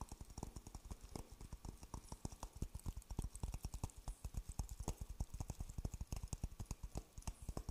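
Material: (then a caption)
Coconut shell. An empty, dry, hollow coconut shell half held in one hand is tapped repeatedly with the fingertips close to the microphone. The result is a rapid, steady run of short, dry, deep knocks with almost no ring, plus faint bright clicks from the fingertips.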